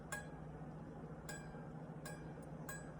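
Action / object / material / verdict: flick / steel jeweler's saw blade / steel / tight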